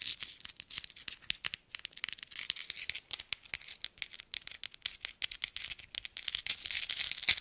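Several small hollow silver-coloured metal thimbles, worn on the fingertips of black-gloved hands, are tapped and clinked against each other close to the microphones. The result is a quick, irregular run of bright, high metallic clicks with very short ring and almost no low end.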